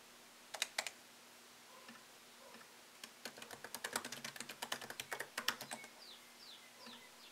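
Fingertips tap the plastic keycaps of a MacBook Pro laptop keyboard set in an aluminium body, typing in short, crisp, bright clicks. Two isolated taps open the clip, and after a quiet pause a dense run of quick keystrokes follows, about 26 in all. A faint steady low hum runs underneath, and the clip ends on a few soft, high sweeping sounds.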